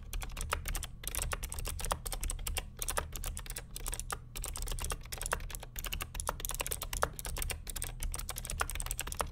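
Fingertips of both hands type continuously on the plastic keycaps of a vintage beige NMB RT8255cw+ mechanical keyboard with Hi-Tek "Space Invader" clicky switches and a hollow plastic case. A rapid, steady stream of sharp, bright clicks, each dying away almost instantly, rides over a hollow low-end clack from the case.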